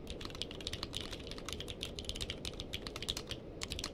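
Two hands type with their fingertips on a purple-cased mechanical keyboard with plastic keycaps. The result is a quick, continuous run of short, bright clicks centred around 3.5 kHz. Each click dies away almost instantly over a steady low rumble.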